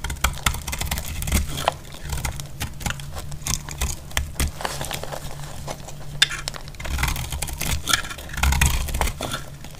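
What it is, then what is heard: Dry soap bar. A solid, dry, dark brown soap bar held in the hand is carved with a metal utility blade into crumbly flakes. Rapid, crisp scraping and crunching strokes follow one another closely, with bright crackling edges over a steady low hum.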